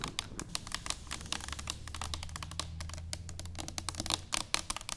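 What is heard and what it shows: Long nails of both hands tap rapidly on an upright, hollow stainless steel cylinder canister. The taps are quick, bright, clicky, and dry, with almost no ring, over a faint low hum in the middle of the clip.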